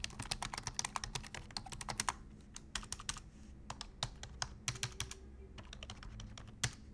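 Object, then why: Plastic computer keyboard. Both hands type with their fingertips on a black plastic full-size computer keyboard, heard up close. Quick, bright, clicky keystrokes come in dense bursts separated by short pauses, with a faint steady low hum underneath.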